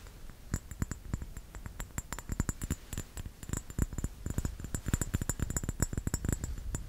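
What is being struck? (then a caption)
Small round glass bottle with metal screw cap, filled with liquid. A small round glass bottle with a metal screw cap, filled with red liquid, is held in one hand and tapped and scratched with the fingertips and nails of the other hand. A quick, uneven run of soft, close taps with a low, dull body and short, bright clicks from the nails dies away almost instantly, with faint scratching between the taps.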